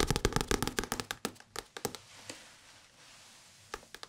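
Fingertips tap on an old English-language paperback book with many pages, giving short, dry, papery taps. A quick, uneven flurry of taps fades into a quiet pause before a few more taps near the end.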